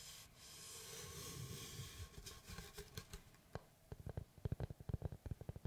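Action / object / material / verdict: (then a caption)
tap / round wooden tree slice board / wood / none. Fingertips scratch across the face of a large round solid wood slice with a bark edge, held upright, making a steady, bright rubbing hiss for about three seconds. Then they switch to a quick series of short, dry taps with low, hollow woody knocks that stop almost instantly.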